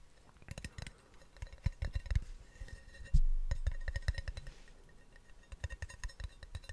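A small, round, hollow plastic snus tin with a blue label is held in one hand and tapped and clicked with the fingertips close to the microphone. Quick, soft, low-pitched taps and light clicks come in uneven bursts. One firmer knock near the middle fades out slowly before the tapping picks up again.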